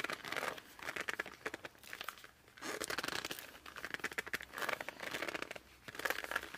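Fingertips and thumbs grip and squeak along the laminated cover of a laminated cardboard board book. The clip is a series of bright, crinkly squeaks and rubbing scrapes in several waves, each separated by a brief quiet pause.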